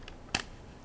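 A worn paper dollar bill is handled, giving a faint rustle and then a brief, bright papery crinkle with two quick peaks, centered around 2.7 kHz and dying away almost at once. The bill sounds a little less crisp than a new one.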